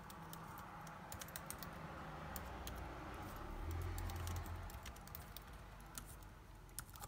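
Fingertips type rapidly on a backlit MacBook Air keyboard with plastic keys set in an aluminum body, with rings on the fingers. Quick, bright, irregular key clicks tap away over a steady low hum that swells slightly midway.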